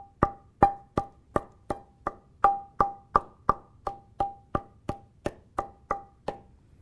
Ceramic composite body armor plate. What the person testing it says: this one's only partially delaminated so you can hear chimes and thuds throughout the plate